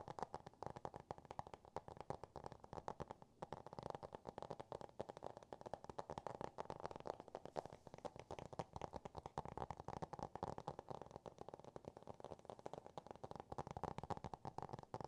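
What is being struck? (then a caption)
Small hardcover book with cardboard cover. A small, solid Dr. Seuss hardcover book with a cardboard cover is held up and tapped and scratched with fingertips and nails. The result is a continuous, quiet stream of rapid, dry taps and scratches, centered in the midrange, with very short decay and almost no high end.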